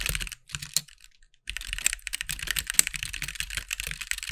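Fingertips of both hands tap the white plastic keycaps of a compact, backlit mechanical keyboard resting on a desk. Bright, crisp clacks come in a quick burst, stop for about a second, then resume as steady, dense typing. Each keystroke is short and dry, with almost no ring.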